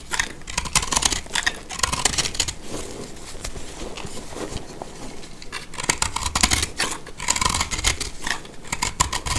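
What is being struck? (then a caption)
Pressed soap block cut with a blade. A box-cutter blade cuts and scrapes into a hand-sized, roughly heart-shaped block of dry recycled confetti soap, made of pressed multicolor soap scraps and held in the hand. Crisp, bright, crackling scrapes come in repeated bursts with short quieter gaps as dry, crumbly pieces break off and fall away.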